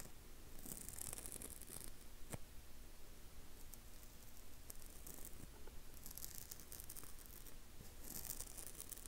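Fingertips and short nails scratch and rub across the flat surface of a rectangular blue dry foam kitchen sponge, porous and soft with its scour pad already removed, held in the hand. The result is a steady, quiet, dry rustling scratch with bright crackly bursts that come and go over a low, muffled rumble.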